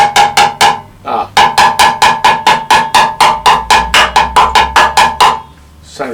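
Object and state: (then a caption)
Sound steel car chassis section. A hammer taps repeatedly on a section of a steel car chassis, producing 22 short, bright metallic knocks with a clear ringing tone near 1 kHz and a brief pause after the first four. This section sounds solid and good, in contrast to a hollow rusted spot elsewhere on the chassis.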